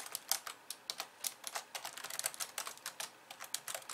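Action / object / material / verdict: tap / plastic computer keyboard / plastic / none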